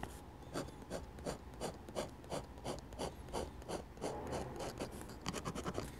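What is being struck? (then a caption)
Metal dip pen nib on a paper sheet. A metal dip pen nib makes short, rasping scratch strokes on a flat sheet of drawing paper, shading a church roof. The strokes repeat at about three per second, each a brief, bright scrape over a faint low hum, and they bunch into quicker strokes near the end.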